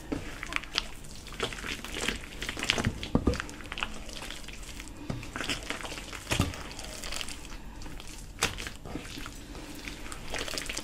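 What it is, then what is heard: Potato bread dough being kneaded. Bare hands and fingers knead, squeeze and rub a large soft mass of crumbly yellow potato and flour dough in a white enamel bowl. The result is a steady run of soft, moist crushing and crumbling sounds with bright crackly textures and occasional louder squeezes.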